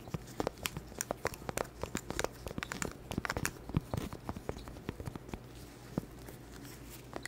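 A small, round, flat, solid cork board, held in a green-gloved hand close to the mic, is scratched and tapped with long black plastic claw nails. Dozens of short, dry clicks and crackly scrapes come in uneven bursts over a steady low hum. Each tap stops almost instantly with no ring.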